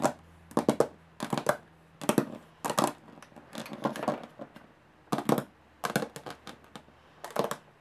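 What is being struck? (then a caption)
Closed aluminum carry case. Long nails tap quickly and scratch across the textured lid of a closed, hollow aluminum carry case. Short, dry metallic taps arrive in rapid bursts with brief pauses between them, mixed with rougher scratching passages and a faint low hum underneath.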